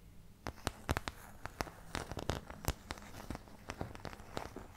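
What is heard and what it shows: Long painted nails scratch and tap the surface of an empty, medium oval white plastic paint palette with round and triangular wells, thin and hollow-backed, held upright in front of the mic. The result is a steady run of sharp, bright clicks and crackly scratches that stop short, over a faint low hum.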